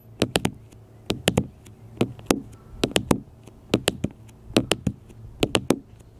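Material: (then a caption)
Glass, plastic. Fingertips and nails tap repeatedly on a small black smartphone with a glass screen and plastic case, lying flat on a metal mesh picnic table. Twenty short, sharp, clicky taps fall in quick bursts, mostly of three, each stopping almost instantly with a bright edge over a quiet background.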